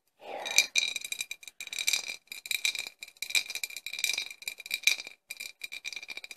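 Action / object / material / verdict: tap / glass bottle with cork stopper / glass / none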